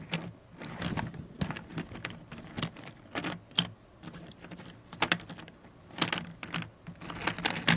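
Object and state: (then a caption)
Cardboard jigsaw puzzle pieces. A pile of small, thin, solid cardboard jigsaw puzzle pieces on a cardboard puzzle tray is shuffled and rubbed around by the fingertips and long painted nails of both hands. The result is a dense run of dry, crisp clicks and rustling scrapes with bright upper content and a soft, low body, played close and quiet.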